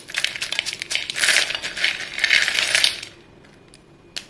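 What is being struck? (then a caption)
Chalk sticks in a bowl. White chalk sticks in a dark bowl are scooped, dropped and stirred by two dusty hands, so they clatter together. Bright, dense clicking rattles on for about three seconds, swelling in waves. It thins to quiet, then one last sharp click sounds near the end.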